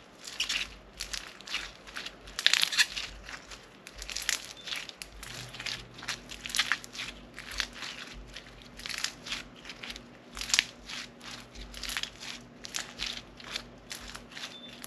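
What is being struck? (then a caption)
Slime filled with foam beads. A hand-sized, solid ball of crunchy floam slime filled with foam beads is folded and squeezed repeatedly between both hands with long nails. Quick, bright crackling crunches burst out in a steady stream of short bursts, with a faint low hum underneath.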